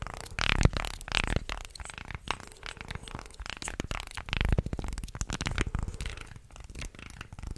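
Fingertips and nails bend and flex a light, solid wooden articulated shark toy, about forearm length and hand-sized, with many thin slotted segments, and run along its segments close to the mic. The result is dense, dry clicking and creaking rasps with bright crackle over a heavy low thump, coming in short uneven bursts with louder swells.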